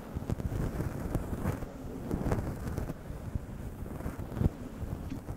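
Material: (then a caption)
Synthetic fur. Long acrylic nails scratch and rub a fist-sized grey faux fur windscreen over a microphone, with soft synthetic fur over a hollow foam body. The strokes come staggered, and each one makes a dense, muffled, low rumbling rustle with occasional sharper scratchy peaks. Almost no bright content comes through.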